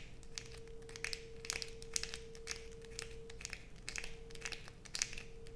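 Long pointed nails scrape a solid blue bar of soap held in the hands, making a rapid series of sharp, dry, crinkly scratches with bright high-end crackle. A steady low-mid hum runs underneath the whole time.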